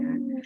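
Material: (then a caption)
Ceramic. A limited-edition thin ceramic plant pot, made by a partner craftsman, is tapped and gives a clear ringing tone around 250 Hz that sustains for about 0.4 seconds, followed by a brighter, higher ring. Because its ceramic is thin, it rings like a plate rather than sounding like an ordinary pot.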